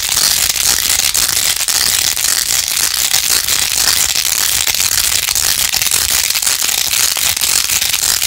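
Long nails scratch fast over a plastic phone case covered in pink faux-pearl gems, held in both hands. The sound is a dense, steady, bright crackling rasp with quick clicky bursts and almost no low end, running continuously throughout.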